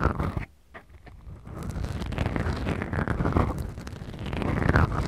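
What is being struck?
Small foam microphone windscreens.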